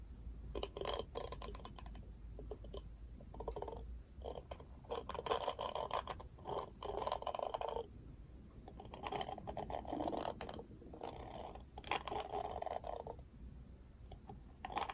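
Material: Plastic.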